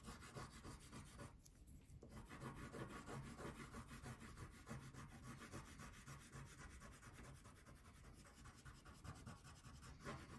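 A blue wax crayon is rubbed in steady back-and-forth strokes across a thin paper coloring page lying flat on a table while the other hand holds the sheet. The result is a continuous soft, low scratchy rasp with a brief pause near the start.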